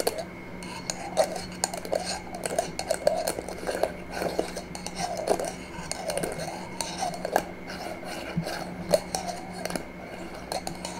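A small, empty, clear glass jar with a metal screw lid is held in one hand and tapped and scratched with long manicured nails on its glass sides and lid rim. The result is a steady stream of quick, irregular clicky taps with a glassy tone around 620 Hz, mixed with soft scratching. Each tap dies away almost instantly, over a faint low steady hum.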